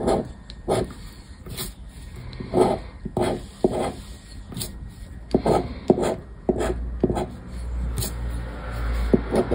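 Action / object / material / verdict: scrape / paper scratch card on wood / paper / none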